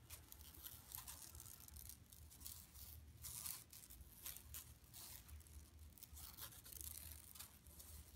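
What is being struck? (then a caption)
Woven plastic mesh tote bag. Long nails scratch across an empty, flat yellow woven plastic mesh tote bag lying on carpet. They make quiet, bright, scratchy rasps in repeated short bursts over a steady low hum.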